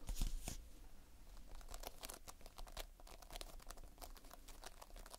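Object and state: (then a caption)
Playfoam bead putty. Fingertips pinch and squeeze a multicolored mass of sticky Playfoam, foam beads held in a sticky binder. The result is a quiet, crunchy crackle of rapid, bright clicks and tearing pops over a steady low rumble, loudest in the first half second and then continuing in dense bursts.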